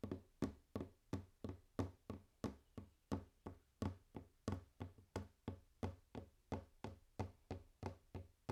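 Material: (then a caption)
Wood. Fingers tap on a wooden table for ASMR, making a steady series of 27 short, dull knocks. Each tap is a soft, low, woody thud that dies away almost at once, with little brightness.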